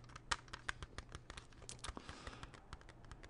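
A small, hollow, closed hard plastic CD jewel case is held and tapped with fingernails. About nineteen quick, irregular clicky taps ring with a bright plastic tick near 1.2 kHz and die away almost instantly. They sit over a faint low hum at a quiet level.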